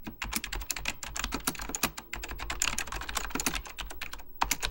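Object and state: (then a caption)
Mechanical computer keyboard. Fingertips type rapidly on the beige plastic keycaps of an Apple Extended Keyboard II, a plastic mechanical computer keyboard with a hollow plastic case. A fast, steady stream of sharp, bright key taps plays out, each clicking short and dry with a faint low thump beneath.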